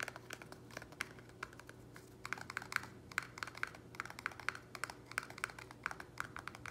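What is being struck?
Small plastic nursery pot.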